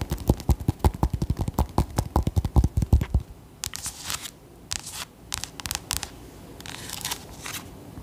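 Long nails tap rapidly on the hard rind near the stem of a whole orange acorn squash held in one hand, making quick, hollow, low knocks for about three seconds. The tapping then gives way to quieter, bright, brushy scratches in short bursts.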